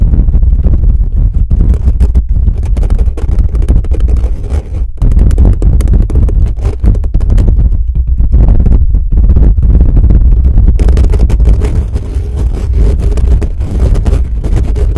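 Fingertips on both hands rapidly scratch and tap the hollow, bare metal mesh grille of a black condenser microphone. The result is a dense, continuous roar of boomy low-frequency rumble and thumps, with quick crackling scratches flickering through the higher range.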